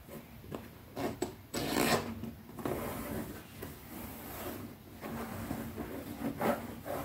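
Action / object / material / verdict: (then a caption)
scrape / leather zippered pouch / leather / none. Long nails scratch and rub across the top and edge of a small, closed black leather zippered pouch held flat on fingertips. Dry, raspy scraping strokes come in uneven bursts, some louder and brighter, over a low, steady background.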